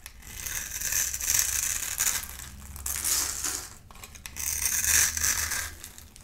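A palm-sized, solid oval bar of dry soap with a black shell and a yellow core is held in one hand and scraped and carved with a snap-off utility knife blade. It makes dry, bright, crunchy scraping in long, swelling strokes with a brief lull between them. The brittle yellow soap crumbles off as it is carved.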